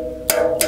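A metal Venom Energy Drink Black Mamba bottle is flicked twice, giving two bright, clicky taps with a ringing tone around 650 Hz that lingers between and after them. The new thin-walled bottle is squishy and weak, unlike the older, almost steel-like bottle that was hard to dent and would not make this sound.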